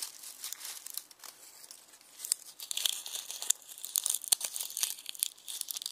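Fingertips pinch and crinkle dry, brittle onion skins through the net of a red plastic mesh bag full of them. The result is a dense, crisp crackling made of many sharp little snaps, almost entirely high and bright with no low end. The crackles grow busier and louder in the second half.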